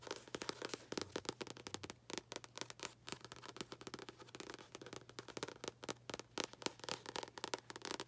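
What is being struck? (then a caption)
Paperback book with paper cover. Long acrylic nails tap quickly on the front cover and top edge of a paperback book with a paper cover. The result is a dense run of sharp, dry, bright clicks that stop almost instantly, over a faint steady low hum.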